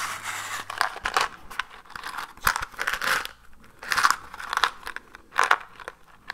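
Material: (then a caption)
Cardboard. A small, hollow orange cardboard matchbox is held close and scratched and tapped with fingertips and nails. The result is a dry, papery run of crinkly scratches and sharp little taps centered in the mid-range with bright edges. The taps come in irregular bursts with quiet gaps between them.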